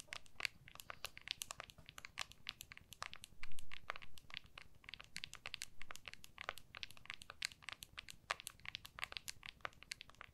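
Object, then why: Smartphone in clear hard plastic case. Long nails tap and scratch the back of an iPhone in a clear hard plastic case, held in both hands. Rapid, dense bright clicks and scratchy ticks sound over a faint low rumble, with a few slightly louder scraping swells around the middle.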